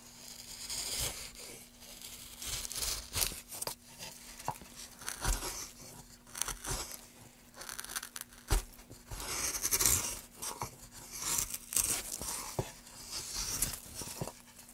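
A wooden-handled gouge held in gloved hands carves lengthwise along a solid pine plank. Repeated bright, dry scraping and tearing strokes rise and fall in bursts, with short crisp peaks that die away quickly over a faint steady low hum.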